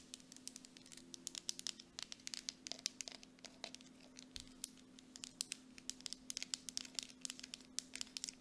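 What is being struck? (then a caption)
Plastic cosmetic jar. Long acrylic nails tap and scratch quickly on the side and plastic bottom of a medium grey plastic Dead Sea mud mask jar with a screw lid, which appears full. The sound is a quiet, fast stream of sharp, bright clicks with dry scratching in between, each tap dying away almost at once over a faint steady low hum.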